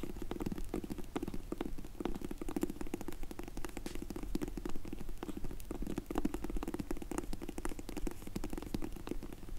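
Long nails tap and scratch rapidly over a closed, dark grey faux leather hard sunglasses case with an embossed logo. The result is a dense, irregular stream of short, muffled, low-heavy clicks and scuffs with almost no ring and little high-end brightness.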